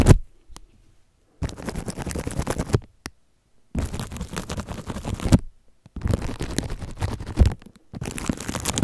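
Toothbrush bristles scratch and brush across clear, crinkly plastic cling film wrapped around a microphone. Four bursts of dense, rustling crinkle and scratch, heavy in low rumble, are separated by short silences, with a few faint taps at the start.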